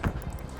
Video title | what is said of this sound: 2 Hours of Intense Recoveries - Full Episodes - Highway Thru Hell | We could sort of tell where the load is by banging on the trailer.